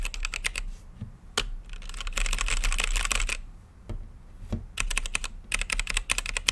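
Fingertips type on a mechanical keyboard with plastic keycaps and a clear acrylic lit case. Short, sharp, bright clacks peak around 3 kHz, with a dense run of rapid keystrokes in the middle. Irregular bursts of typing are separated by brief pauses.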